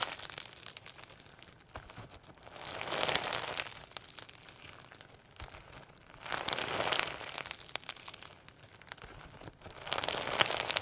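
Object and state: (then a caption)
Sequin slime being squeezed. A hand-sized lump of firm homemade slime packed with holographic sequins and a few pearl beads is stretched, folded and squeezed with the fingertips. Dense, bright crinkling and crackling rise in three louder swells around 3, 7 and 10.5 seconds, with quieter sticky clicks between.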